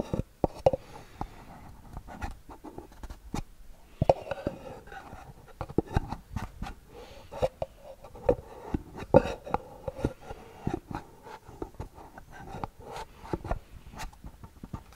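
Long nails scratch and tap a small, hollow white cardboard gift box with a gold band, held close to the microphone. The result is a steady series of dry, quick scratches and soft taps with a hollow, boxy resonance around 540 Hz and little high-end brightness.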